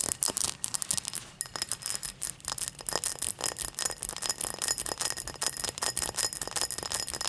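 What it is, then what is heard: Cut crystal tall glass. Long matte black nails tap and scratch quickly along the faceted side of an empty, hollow, tall cut crystal tumbler lying on its side. The result is a dense, rapid run of bright, sharp clicks with very short ring, mixed with glassy scratching. There is almost no low end.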